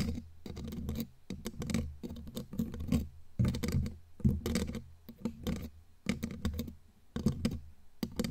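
Long glittery claw nails tap quickly on the bare black metal mesh grille of a studio microphone. The result is irregular clusters of rapid, dry clicks and scratchy patter with a deep, boomy low-end thump. The clusters are broken by brief pauses.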